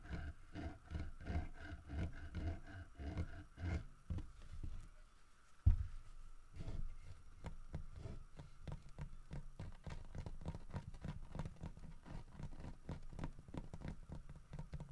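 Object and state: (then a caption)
Carved wooden bear statue. Fingertips and nails tap and scratch the head and body of a large, solid carved wooden bear statue holding a fish in its mouth. The taps are quick, dull and low, with no ring, and come in a steady stream. After a short quiet gap, one louder knock lands just before the six-second mark, and the tapping then continues evenly to the end.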